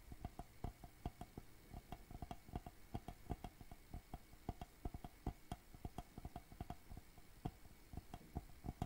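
A medium rectangular hollow wooden shadow box frame with a dark back panel is held upright and tapped with fingertips and nails. It gives a quick, irregular run of dull, low, hollow knocks, each with a short mid-range tonal ring that dies almost at once, mixed with lighter clicks.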